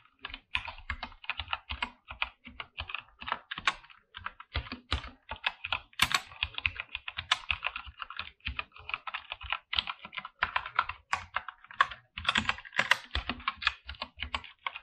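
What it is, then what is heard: Mechanical keyboard with PBT plastic keycaps. Both hands type with their fingertips on a full-size backlit mechanical keyboard with PBT plastic keycaps and a white backlight, in a dark room. The clip is a steady stream of dense, fast keystrokes, each a short, crisp click with very little ring. Most of the sound sits in the bright upper mids and highs, with only a small low-end thump.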